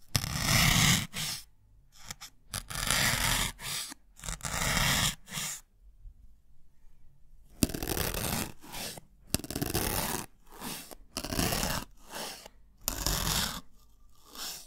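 A thin metal needle is pushed repeatedly into a small white solid melamine foam block held in one hand close to the microphone. Each stab makes a dry, crunchy, scraping burst that spans low to bright high tones. The bursts come in a series separated by short silences, with a longer quiet stretch in the middle.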